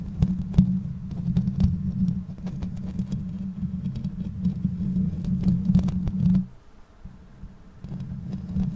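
Long nails of both hands scratch and stroke the bare perforated metal mesh grille on the hollow head of a black condenser microphone. The result is a close, dense low rumbling scrape, humming around 180 Hz, dotted with quick bright ticks. It drops away to near silence briefly before the scratching resumes more softly.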